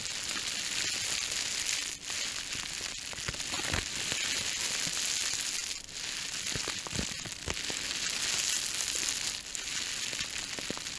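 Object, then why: Plastic bubble wrap. A small crumpled sheet of clear plastic bubble wrap is held close to the microphone and squeezed and crinkled by the fingertips. Steady, bright crinkling runs throughout, broken by sharp, short pops as the bubbles burst.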